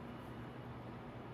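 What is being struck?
Nothing is struck.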